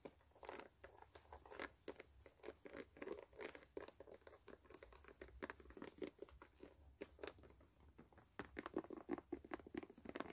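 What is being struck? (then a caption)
Rubber sole of a canvas sneaker. A white canvas low-top sneaker, hollow and empty, is turned over while long nails scratch its patterned brown rubber sole. The result is a steady run of soft, quick, dry scratching strokes centred in the mid range with bright raspy edges, each stroke stopping dead with no ring.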